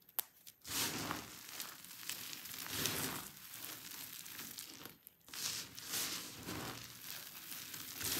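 Hands press and squeeze handfuls of dry pink and white soap shavings spread on paving, crushing the flakes. The result is a dense, bright, crunchy crackling that runs in sustained bursts, with a brief quiet gap near the start and another about two-thirds of the way through.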